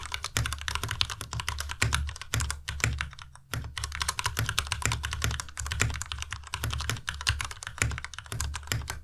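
Rapid fingertip typing on a white Ducky Miya Pro tenkeyless mechanical keyboard with plastic keycaps produces a dense stream of short, sharp clacks. Each keystroke has a bright click on top of a deep, thocky low end, and the sound stops ringing almost instantly. There is a brief lull near the middle before the steady typing resumes.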